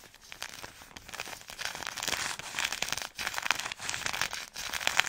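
Long nails scratch and crinkle the soft plastic-film wrapper of a plastic-wrapped product pack up close. Dense, bright crackling and crinkling come in bursts with very little low end, along with a few sharper clicks.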